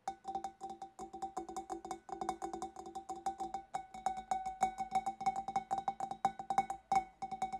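Long black nails rapidly tap the scalloped rim and sides of a large, empty, hollow, clear glass fish bowl. The result is a quick, uneven stream of sharp clicks, each with a short, clear glassy ring near 780 Hz and faint bright overtones. The taps grow slightly louder and more defined in the second half.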